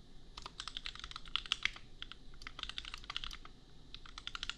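A compact $250 custom mechanical keyboard with Gateron Milky Yellow switches and red and pink plastic keycaps is typed on quickly with the fingertips. It makes a dense, uneven run of short, bright plastic clacks that stop dead with no ring, over a faint low background hum.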